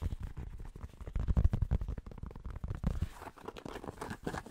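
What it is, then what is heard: Fabric baseball cap. Fingertips rapidly tap and scratch on the fabric of a grey cotton Penn State baseball cap, its hollow crown held in both hands. The taps land as quick, soft, muffled thumps with deep low body and no ring, and toward the end they give way to denser, rougher scratching on the cloth.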